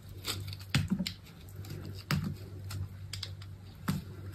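A metal box-cutter blade scrapes and carves flakes off a solid, hand-sized bar of soap, red outside and green inside, held in a hand with long pink nails as shavings fall onto a fabric surface. Short, dry scraping strokes crackle over a low hum, with a few sharper, louder cuts standing out and brief bright, crisp edges.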